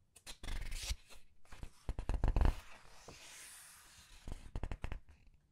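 Fingers with long nails turn and squeeze the glossy paper pages of a large art book. Bursts of crisp rustling and crinkling alternate with sharp little clicks and soft low thumps. A quieter, smooth sliding whoosh sits in the middle before another flurry of taps and crackles.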